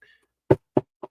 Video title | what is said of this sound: Somebody Cares!! | Do you hear that? That's me knocking on wood.